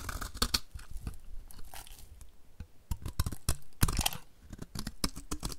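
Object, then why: Bar of soap scraped with a blade. A utility knife blade scrapes flaky shavings off a solid, rectangular, white embossed bar of dry soap held in the hand. Short, dry, crunchy scraping and tearing strokes come in quick bursts, each with a bright crackle over a soft low thump and almost no ring.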